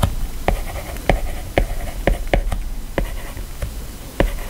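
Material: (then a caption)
Glass. A plastic stylus writes handwriting on the glass screen of an iPad in rubbing strokes, giving a soft, continuous scratching over a low background rumble. About nine sharp taps stand out as the tip meets the glass. At the end, a fingertip touches the screen.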